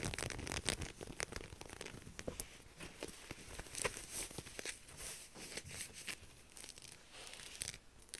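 Long nails scratch and rub the pink silicone grip dots on a soft, flexible black knit fabric heat-resistant glove while it is handled. The sound is a quiet, continuous run of fast, dry scratching and crinkling with many sharp, bright clicks and no ring after them.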